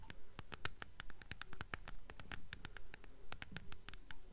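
A closed, solid, mid-sized blue hardcover copy of The Golden Compass in a glossy paper dust jacket is held upright in both hands and tapped and scratched on its spine and cover with long acrylic nails. The result is a quick, fairly steady run of crisp, bright clicking taps with short dry decays and faint scratchy texture between them.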